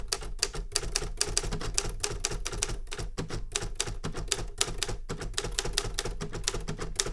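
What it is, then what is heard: Metal manual typewriter. A Remington Super Riter metal manual typewriter is typed on with continuous fingertip strikes on its keys. The keys land as a rapid, uneven stream of sharp, bright clacks that die away almost instantly, over a steady low rumble.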